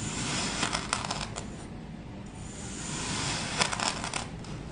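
A white ceramic knife cuts thin slices off a solid green heart-shaped block of packed kinetic sand resting on a wooden cutting board. The blade scrapes through the sand in two bursts of gritty, bright scraping and crunching over a steady low background hiss.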